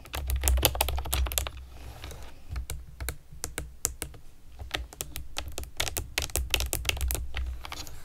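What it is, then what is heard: Plastic keyboard with round keycaps. Long nails and fingertips type on a pastel plastic keyboard with round keycaps, producing quick, irregular, bright clicks and clacks. A steady low hum sits beneath the short, sharp taps, with a brief lull in typing near the start.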